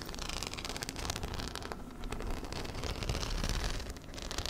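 Fingertips and nails scratch over the surface of a small black hollow fabric handbag covered in metal-set rhinestone studs, held close to the mic. A dense, continuous rustling scrape is heard, with fine high-pitched clicks from the studs over a steady low rumble.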